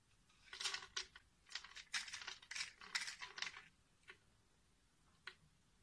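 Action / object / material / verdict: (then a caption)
scrape / bar of soap cut with a metal blade / soap / none. A small metal box-cutter blade scores and scrapes a solid, palm-sized, translucent green bar of soap held in one hand, cutting it into a grid and shaving off small cubes. Crisp, bright scratching and cutting bursts come in quick clusters through the first few seconds. They then thin out to a couple of faint, sharp ticks.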